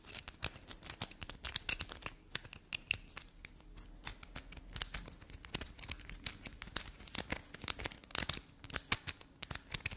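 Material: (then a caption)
Soap. Long black nails scratch and dig into a solid black soap bar with carved grooves. The result is a fast, dense run of crisp, bright scratching clicks and scrapes with very little low end and almost no ring after each stroke.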